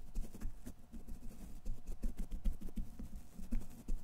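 A thin makeup brush held in the fingers is brushed repeatedly across the hollow steel wire-mesh grille of a large silver condenser microphone. It makes a soft, continuous run of quick, muffled scratching strokes, heavy in low rumble with little brightness, rising and falling in loudness without pause.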